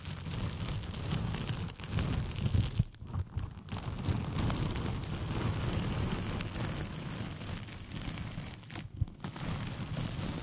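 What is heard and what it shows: A thin white paper sheet with pink polka dots, curled into a hollow, empty tube around a foam-covered microphone, is scratched and crinkled with long painted fingernails. A steady, dense rustling and crackling with a heavy low rumble carries on throughout, broken by a few brief quieter gaps and sharp louder scrapes.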